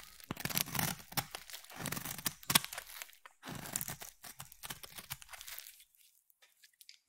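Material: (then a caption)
Soap. A palm-sized, solid cream oval bar of soap is shaved with a utility blade and then a craft knife, peeling off soap curls. Dense, crisp scraping and crackling strokes come in quick bright bursts with little low end, then thin out to a few faint scrapes near the end.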